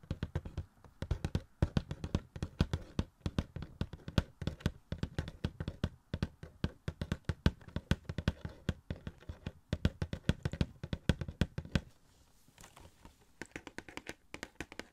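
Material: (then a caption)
Cardboard. Fingertips tap rapidly on a small, hollow cardboard Funko Pop box with a plastic window and a Peter Parker figure inside. The taps are quick, dull, low thumps with almost no ring. They continue steadily and grow softer and sparser after about 12 seconds.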